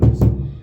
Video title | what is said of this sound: Hallway - Wallpaper removal Revenge of DIY | it's hollow as you can hear